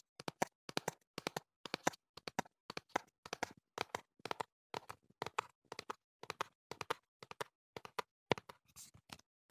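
Fingertips tap the sides of a hollow printed cardboard box held in the hand, producing rapid clusters of dry, hollow taps. Each tap is short with almost no ring, centered in the low-mid range with some brighter edge.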